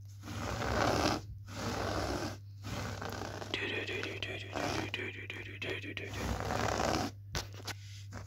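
Fingertips and nails of one hand quickly and roughly scratch a low-pile grey fitted carpet on a floor, a flat solid surface. Dense, hissy scratching comes in fast bursts with short silent breaks. A steady low hum runs underneath throughout.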